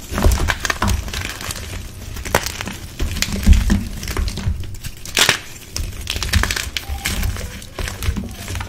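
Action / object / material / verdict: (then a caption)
scrape / dyed gym chalk blocks / chalk / none. Bare hands with red-painted fingernails squeeze and crush solid, dusty blue-dyed gym chalk blocks (magnesium carbonate) in a dark bucket, breaking them into crumbly chunks and powder. A steady run of dry, crispy crunches and crackles sits over a low, muffled rumble, with sharper snaps standing out now and then.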